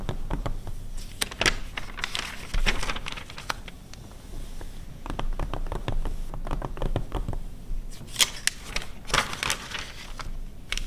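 Long red nails tap and scratch quickly on the glossy paper pages of an open 2009 car magazine, with a page turn. Dense, sharp clicks and bright papery scratches come in quick bursts over a low rumble, with a brief crinkling sweep as the page is turned.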